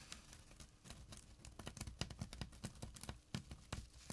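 Short nails scratch the coarse fabric near the edge of a small, flat burlap pouch with a drawstring. The result is a quiet run of quick, dry, rasping strokes, each a brief bright burst over a soft low thud, coming in an uneven, fast rhythm.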